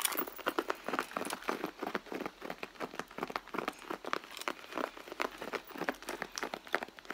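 Long blue nails scratch and rub the back of a red pebbled-leather handbag, which is hollow and soft. The result is a dense run of quick, dry, crinkly scratching strokes, mostly midrange with some brighter edges and almost no low end. Each stroke stops dead without ringing.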